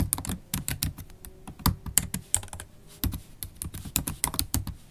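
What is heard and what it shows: Typing on a MacBook Pro laptop keyboard, its low-profile black plastic keys set in a silver aluminum body, with long stiletto acrylic nails and fingertips. A quick, uneven run of short clicky taps with bright nail ticks over soft low thuds, each dying away almost at once.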